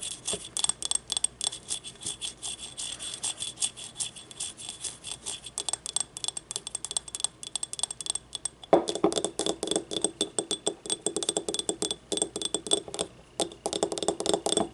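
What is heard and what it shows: Long nails tap rapidly and continuously on a small hollow yellow ribbed ceramic paint cup held in both hands. The dense stream of light, dry clicks has a bright glassy edge. Just before the nine-second mark, the taps become louder and fuller, with a stronger hollow midrange ring around 340 Hz.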